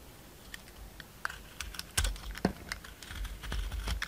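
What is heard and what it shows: A solid round soap with a green glitter coating and a pale green core has its coating shaved off with a utility knife. Quick, crisp scraping and cutting clicks come in close succession, with a few louder cuts near the middle and a steadier scraping texture toward the end.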